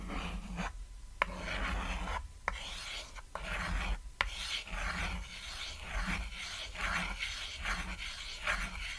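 A white chalk stick draws wavy lines across a flat, solid, cat-shaped chalkboard made from a painted board. It produces steady, bright rasping scratches in short strokes, broken by four sharp clicks of chalk against the surface. A low hum sits underneath throughout.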